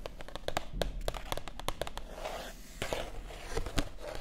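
Long acrylic nails tap and scratch the matte paper pages of an open softcover art book held up in both hands. A quick run of sharp, dry clicks gives way midway to soft, papery scratching swishes, then a few more crisp taps.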